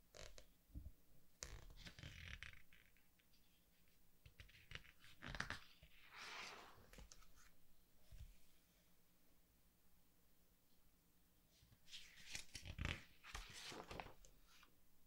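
Fingertips slide over the glossy paper pages of a large softcover artbook and flip a page over, producing soft, bright scratchy swishes and crisp rustling bursts. The louder page-turn flurries come near the start, around the middle and toward the end, with quiet stretches of faint brushing and a low steady hum in between.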